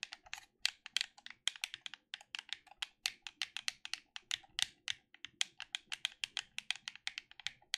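A black plastic gamepad held in both hands is tapped and clicked on its buttons by fingertips. About 45 quick, dry, bright clicks follow one another in an uneven rhythm, each dying away almost instantly with no low-end body.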